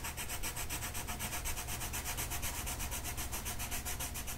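A light blue colored pencil shades a flat paper mandala coloring sheet with vigorous back-and-forth strokes. Each stroke makes a bright, scratchy rubbing pulse in a steady, rapid rhythm over a continuous low rumble.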